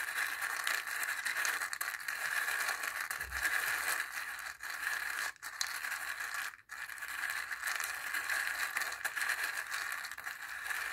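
A wooden stick stirs dry chickpeas inside a small hollow dried-gourd bowl with a zigzag rim, partly filled. The chickpeas make a steady, dense rattle and scrape against the gourd wall, bright and busy around 1.7 kHz, with a few brief pauses.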